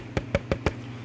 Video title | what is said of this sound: Emulated's Unqualified Reviews - Sharper Image Emergency Radio (unknown model name) | the radio is built out of plastic but it's some good sturdy plastic